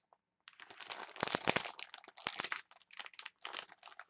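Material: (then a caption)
Plastic. Long nails tap and scratch a clear plastic package of wooden chopsticks, producing bright, dry crinkling and crackling with sharp clicks. After a faint tick at the start, the sound comes in dense bursts separated by short pauses.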